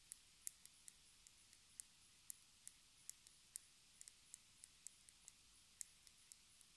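Long red nails tap and scratch along the ridged screw-lid edge and base of a small, palm-sized, hollow round black plastic cosmetic jar with a white label on the bottom. Eighteen quiet, sharp, bright clicks land at uneven intervals, each dying away instantly over a faint steady hiss.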